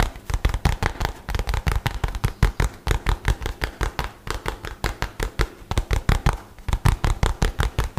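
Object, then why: Rolled-up nylon bag. A light blue nylon bag rolled into a tube is held upright and rubbed and scratched quickly with fingertips and nails. The result is a fast, steady run of some forty short, dull, scratchy swipes, heavy in the low end with a bright rasp on each stroke and almost no ring.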